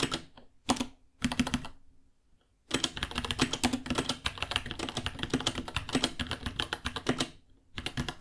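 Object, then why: Plastic mechanical keyboard. Both hands type with fingertips on a small white 66-key mechanical keyboard with Gateron Brown switches, white plastic keycaps, a hollow case and pink underglow, resting on a white desk. Rapid bursts of sharp plastic key taps each pair a low hollow thock with a bright clack. Short pauses break up the typing, including a near-silent gap around two seconds in.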